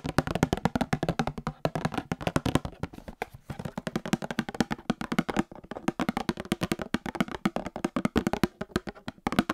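A small Star Wars cardboard trading card box holding card packs is tapped and knocked rapidly with nails and fingertips. Dozens of short, dry, hollow taps with a low body near 150 Hz and almost no ring follow each other in a fast, uneven stream.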